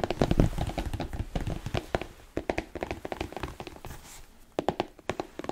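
A hollow, empty smooth black leather Chelsea boot, with an elastic side panel and a thick yellow-stitched sole, is held up in a hand and tapped with fingertips and nails. Rapid dull taps and light clicks land in quick bursts, with a brief pause before a few final taps. Each hit is short and low-heavy, dying away almost at once.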